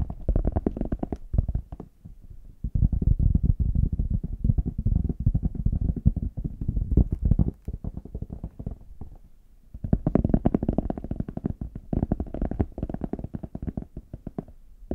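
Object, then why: Faux leather hard shell case. Fingertips and nails tap rapidly across the smooth back and edges of a small, hollow, brown faux leather hard case held in both hands. The result is dense runs of soft, low, hollow thuds that stop short with no ring. The bursts are broken by brief quieter pauses.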